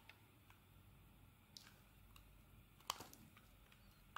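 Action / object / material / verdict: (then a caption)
scrape / soap bar shaved with a metal blade / soap / none. A metal blade shaves thin translucent curls from a solid white rectangular bar of soap. Quiet, sparse, crisp scraping ticks sound over a low hiss, with brighter, sharper cuts near the middle and at the very end.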